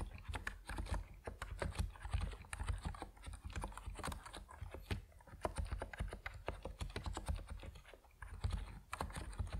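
Fast fingertip typing on a compact plastic Epomaker NiZ Plum Atom 68 mechanical keyboard with white and purple PBT keycaps. It produces a steady stream of rapid, short keystroke clacks with a deep, thocky low end and very little ring after each press.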